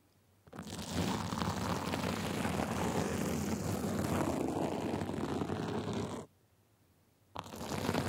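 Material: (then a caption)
Sequins. Small white plastic tools held in both hands scratch the sides of a gold sequin glitter fabric sleeve, making a dense, continuous rasping scratch with a low rumbling body. The scratching runs steadily for several seconds, stops abruptly into near silence, then starts again.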